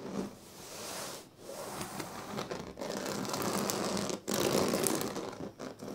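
Fingers scratch and rub the weave of a large, flat woven sleeping mat made of thin dyed reed strands. A steady, dry, crackly scratching and rustling fills the clip, bright and hissy on top. It drops briefly near 1.3, 2.7 and 4.2 seconds and comes back louder each time.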